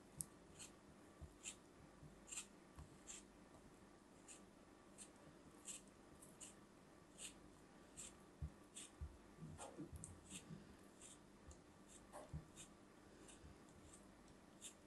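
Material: Kinetic sand.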